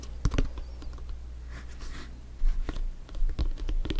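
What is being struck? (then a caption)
Inflated synthetic leather soccer ball. A full-size, inflated, hollow soccer ball with stitched synthetic leather panels is held and tapped quickly on top with bare fingertips. The taps are short, dull and irregular, over a steady low hum, with a soft scratchy rustle in the middle.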